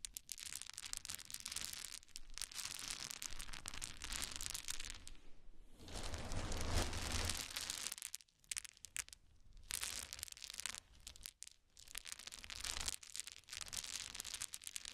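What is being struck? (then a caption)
Small wooden cubes on a towel. A hand picks up many small solid wooden cube chips from a pile on a towel and drops them back onto it. The result is dense, bright clattering and crinkly rattling in long bursts, with a heavier, fuller stretch around the middle. Brief quiet pauses fall between handfuls.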